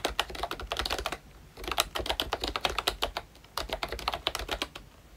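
Both hands tap with their fingertips on the round black keycaps of a pink plastic ROYCHE Disney Mickey Mouse retro membrane keyboard, making quick, dry, bright clicks around 3.9 kHz with almost no ring. The typing comes in three fast bursts, separated by two short pauses.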